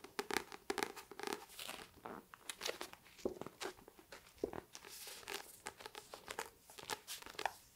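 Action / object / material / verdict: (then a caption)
tap / paperback book with glossy paper cover / paper / none. Long painted nails, with rings on the fingers, tap and scratch across the glossy paper front cover of the paperback book "Her Body and Other Parties," held up in both hands. Quick, crisp clicks are mixed with dry, crinkly scratching, bright and thin with almost no low end.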